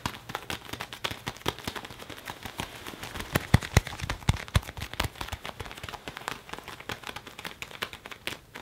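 An open hand and fingertips rub and grip the sleeve of a worn black leather (possibly faux leather) jacket on an arm crossed over the chest, creasing the leather. A steady run of quick, dry crinkles and creaks fills the clip, with a few sharper squeaks standing out near the middle. The crackles are short and broadband and decay almost instantly, with no talking.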